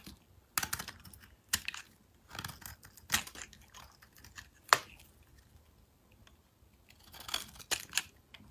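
A metal blade shaves angled facets into a solid chunk of mint-green soap held in the hand, scraping off flakes. Short, crisp scraping and crackling bursts come in uneven clusters with bright, hissy texture and very little low end. Quiet pauses fall between the cuts, and one sharper snap stands out near the middle.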